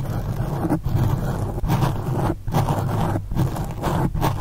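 Long acrylic nails on both hands scratch and rub the sides of a black foam windscreen on a condenser microphone. It makes a dense, muffled, low-heavy scratching rumble in sustained bursts, broken by brief dips roughly every 0.8 seconds as the strokes change.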